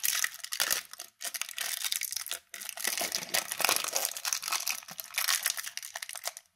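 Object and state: Aluminium foil candy wrapper.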